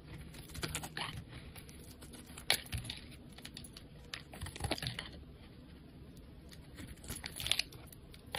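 A solid, dark charcoal-colored bar of black soap is held in the fingers and shaved and carved with a metal utility knife blade, with flakes piling up around it. Quiet, crisp scraping and brittle crackling ticks run throughout, with sharper cuts standing out near the 2.5 and 7.5 second marks. The sound is bright and dry, with almost no ring after each cut.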